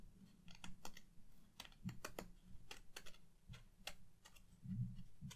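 Long painted nails tap along the surface and top edge of the large, flat white cardboard backing of a watercolor paper pad, held upright in both hands; the backing is solid and stiff. An uneven run of quick, dry clicks and soft taps comes through quietly, each with a dull low thud and a brief bright tick that dies away almost at once.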